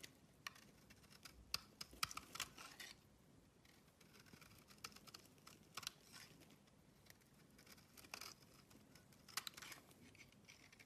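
A blade scrapes and cuts shavings off the surface of an oval, solid purple bar of soap. The clip is a quiet run of bright, crisp scraping and shaving sounds, broken by sharper short cuts that stop almost instantly with no ring.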